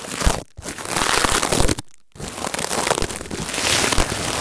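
A palm-sized, springy coiled stainless-steel wire scouring pad is squeezed and crinkled by fingertips on top of bubble wrap, with an earphone mic taped underneath. Dense, bright, scratchy crinkling and crunching fills the clip, with a short drop near half a second and a longer quiet gap around two seconds as the pad is briefly lifted before the crinkling resumes.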